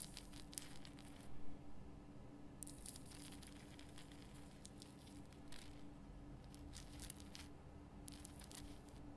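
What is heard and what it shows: Long fingernails scratch the rough crystal surface of a large pink Himalayan rock salt lamp. Quiet, bright, crackly scratching comes in bursts over a steady low hum.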